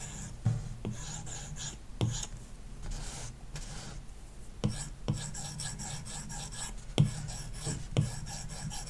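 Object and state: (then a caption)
Stylus scratching a matte-film tablet screen. A plastic stylus tip is rubbed rapidly in dense hatching strokes over a red shape on an iPad's solid glass touchscreen, likely covered with a paper-like matte film, as the tablet lies on a wooden desk. A steady, strong rasping scratch runs throughout, broken by a few sharper taps that stand out above the scratching.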